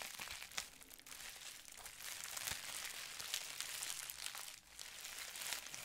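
A folded sheet of clear plastic bubble wrap is crinkled and squeezed with fingertips. It makes a steady, bright crackling and crinkling with dense sharp snaps and almost no low end, dipping briefly near the end before the crinkling picks back up.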